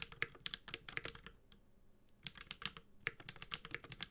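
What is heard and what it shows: Steady fingertip typing on a 65% Space65 Cybervoyager mechanical keyboard with Holy Panda switches, a white-gold metal case and ABS plastic keycaps. The keys give crisp, bright, quick clacks in two bursts separated by a brief pause near the middle, each press ringing out almost instantly.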